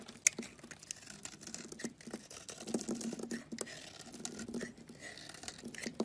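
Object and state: Cream bar soap being shaved.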